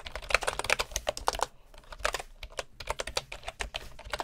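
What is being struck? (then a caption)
Bamboo keyboard with wooden keycaps. Both hands type with their fingertips on a bamboo computer keyboard with wooden keycaps. About two dozen quick, dry, bright clacks come in uneven bursts, centered around 2.6 kHz, with a brief pause midway. Each tap dies away almost instantly.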